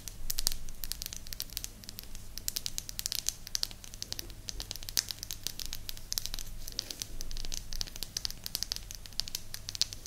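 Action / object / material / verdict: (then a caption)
tap / small flat wooden disc / wood / none. Long nails tap and scratch a small, flat, round, solid light-wood disc with a blue dot, held in both hands close to the mic. Rapid, crisp, bright clicks and dry scratching crackle continuously over a low, steady hum, with each tap dying away almost instantly.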